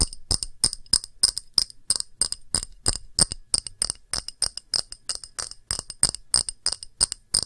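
A glass object is tapped with the fingers in a quick, uneven run of 41 light taps. Each tap gives a short, bright clink that dies away almost at once. Strong high tones ring through every tap, with little low end.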